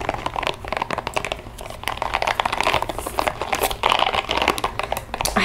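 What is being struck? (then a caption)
Small rubber spiky ball. A small pink translucent rubber spiky ball is cupped in both hands while long nails scratch across its spikes and the hands squeeze it. The result is a steady stream of quick, crinkly scratching and soft rubbery squeaks.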